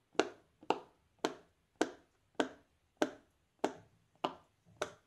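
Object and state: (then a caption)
Silicone pop-it bubbles popped. A fingertip in a black lace glove presses and pops the hollow bubbles of a large, flat, square rainbow silicone pop-it fidget toy. Nine short, tap-like pops ring out at a steady pace, each a sharp, midrange click that dies away almost at once, leaving quiet gaps between them.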